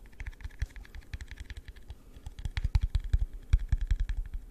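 Fingertips tap rapidly on a hollow, empty, yellow translucent plastic cup held sideways with its open end near the mic. The result is an irregular stream of soft, dull thumps with light clicky tops that die away almost instantly, growing louder and more forceful in the second half.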